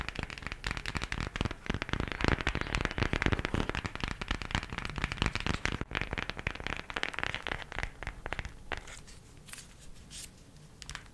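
A cardboard eyeshadow palette is tapped quickly with the nails, producing a dense, irregular run of fast, dry clicks and light hollow taps with a soft low thud beneath them. The tapping stays busy for most of the clip, then thins out into sparser, quieter taps near the end.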